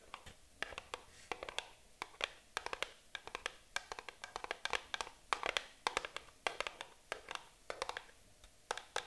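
Long acrylic nails tap and scratch the surface of a small, empty-looking, hollow printed cardboard box held in the hands. The result is rapid bursts of sharp, bright clicking taps with very short decay, mixed with light scratching and almost no low end.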